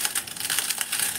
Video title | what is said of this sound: एक खास टिप्स सह स्वादिष्ट व झटपट होणारे साबुदाणा पळी पापड l Sabudana Papad Recipe #sabudanapapad | किती कुरकुरीत आवाज येतो आहे